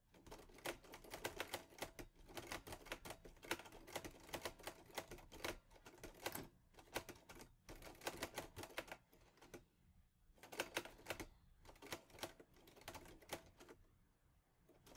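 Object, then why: Metal-bodied manual portable typewriter. Fingertips type on the keys of a mint-green Olivetti Lettera 22 portable manual typewriter with a metal body and paper loaded. Bursts of rapid, crisp, bright metallic clacks come in runs separated by short pauses, each strike dying away almost at once over a faint low background hum.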